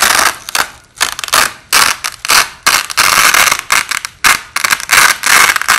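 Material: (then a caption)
Nylon. Overlapping white nylon hook-and-loop (Velcro) strips are worked by hand, with the top strip repeatedly peeled off and repositioned. The slowed-down audio gives a series of uneven, bright, crackling rips that swell and fade, with no low end and only short pauses between them.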